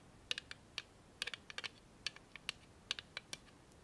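Long nails tap and click on a small hand-held clear plastic tape dispenser holding a roll of tape. The result is an irregular run of sharp, bright, dry clicks with almost no ring, some coming in quick pairs, against a quiet background.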